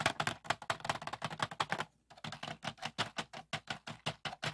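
Fingertips tap the lid and compartments of a medium clear plastic bead organizer box with many compartments, filled with pearl and acrylic beads and lying on a wooden table. About 25 quick, bright plastic taps come in a steady run, each with a short rattle of beads inside. There is a brief pause near the middle before the tapping resumes.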